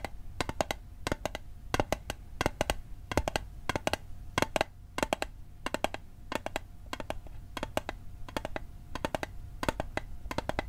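Fingertips tap quickly on a small, hollow, rectangular metal Altoids mint tin held sideways. The taps come in rapid clusters of short, sharp, bright clicks that die away almost instantly, over a faint steady ring and a low hum underneath.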